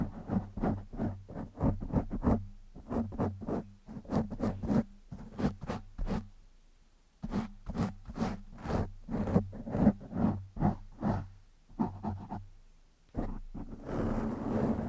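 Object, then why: Foam microphone windscreen. One hand scratches the top of a black foam windscreen over a microphone with short nails and fingertips. It makes rapid bursts of soft, scratchy rustling with a low, close-up thump, broken by brief quiet gaps. The clip ends in a denser, continuous scrub.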